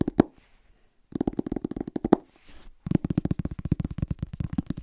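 A medium-sized, solid paperback book with a yellow/orange paper cover is held upright near the mic while fingertips and short nails tap and scratch its back cover and spine. A single tap is followed by a faint scratch and a short silence, then two long runs of rapid, dull, low-pitched taps separated by a soft scratching pass. The taps are short and dry, with no ring.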